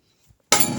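A metal can is dropped, landing with a single loud, bright metallic clink at about half a second after near silence. The impact rings briefly, with most of its energy in the high range.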